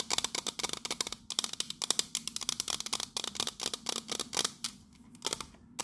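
Long nails tap rapidly on the base and side of a pink metal biscuit tin, making about 28 quick, dry, bright clicks with almost no ring. The taps come in fast bursts with a few short pauses, centred around 3.7 kHz with little low end.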